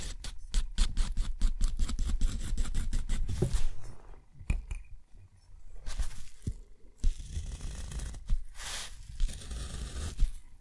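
A steel nib scratches across a thick, rough white sheet of textured watercolor paper, drawing dense curls. This makes a quick run of short, gritty scrapes, then a pause and longer rasping strokes, including a straight stroke. The sound is dry and low, with brief bright scratchy edges.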